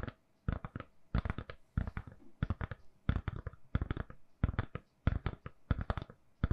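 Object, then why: Smartphone in a soft silicone case. A handheld smartphone in a lilac-purple silicone soft case, solid and held in both hands, is tapped with long nails. Quick, dull, clicky taps come in rapid bursts with brief pauses between them. Each tap is short and quiet, with little ring.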